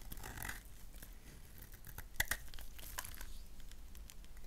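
A solid black bar of soap is shaved with a gold knife so flakes fall off, and the bar is briefly turned in the hands. Quiet, dry scraping and crinkly rasps run throughout, with a couple of sharper, brighter scrapes near the middle over a low background rumble.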